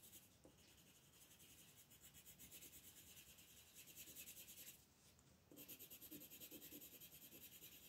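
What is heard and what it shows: A green wooden colored pencil is rubbed back and forth to shade a leaf on a thin paper coloring book page lying flat on a table, while the fingertips of the other hand hold the page. Quiet, bright, scratchy strokes repeat in a steady rhythm, dip briefly near the five-second mark, then resume a little louder.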